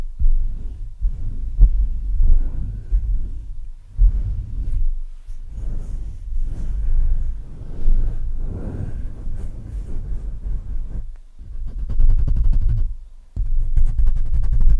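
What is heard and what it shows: Hands cup and rub the metal mesh grille of a black Blue Yeti microphone while fingertips scratch its top. The result is a deep, muffled rumble of thumping, pulsing swells at about 59 Hz, with faint brushing scratches above and short pauses between strokes.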